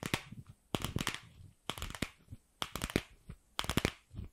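Long pink acrylic nails tap and scratch a palm-sized hollow pink plastic ball with a seam, held close to the mic. Quick clusters of sharp, dry, bright clicks carry a hollow low thump underneath, with soft scratching between bursts and no ringing after each tap.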